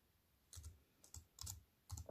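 A compact plastic computer keyboard with black plastic keys on a silver aluminium frame is typed on with fingertips and long white nails. Short bursts of dry, bright key clicks with a soft low thump underneath come in small clusters separated by brief pauses, each click dying away almost at once.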